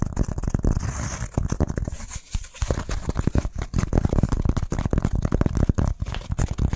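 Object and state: Pressed wood fibre firelighter block.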